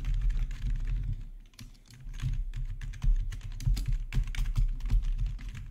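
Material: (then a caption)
Plastic. Both hands type with their fingertips on a black plastic, backlit RGB gaming keyboard. The result is a steady stream of quick, dull key taps with a deep low thump and very little ring. The typing pauses briefly near the middle before resuming at a busy pace.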